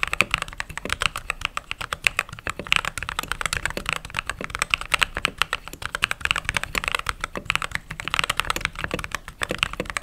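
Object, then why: Mechanical keyboard with plastic keycaps. Fingertips with short nails type rapidly on a backlit mechanical keyboard with white plastic keycaps. A dense, continuous stream of short, bright plastic clacks comes with very little low end, a tone centered around 2.5 kHz, and each keystroke dying away almost instantly.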